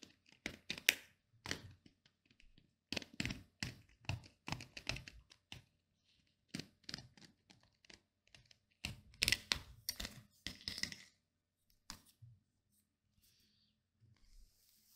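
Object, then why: Plastic paddle hairbrush. Fingernails flick and scratch along the black pins of a pink plastic paddle hairbrush, making a quick run of sharp, bright clicks and scrapes with very short ring. The brush is then turned toward the back, and only sparse, quieter ticks and soft rustling are left.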